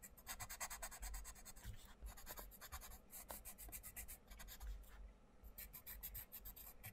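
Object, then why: Coloured pencil on thin paper page. A wooden colouring pencil tip is rubbed and scratched in short strokes across the thin paper page of an open paperback colouring book on a wooden table, while the other hand's fingertips hold the page. Quick, bright, dry scratching strokes repeat in bursts, with short pauses and a soft low rumble underneath.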